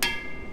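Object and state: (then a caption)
Uncracked exhaust pipe (rings). A pen taps the metal exhaust pipe of a Cessna 172N during a pre-flight check, giving a single bright metallic ping with a clear ringing tone around 2.1 kHz that fades over about half a second. The clear ring indicates the exhaust is not cracked.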